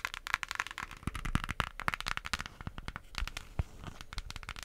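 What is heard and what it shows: Long acrylic nails tap and scratch the printed lid of a small, flat, closed pink cardboard eyeshadow palette. The result is a dense run of sharp, dry clicks and crackly scrapes with a bright edge, each tap dying away almost instantly.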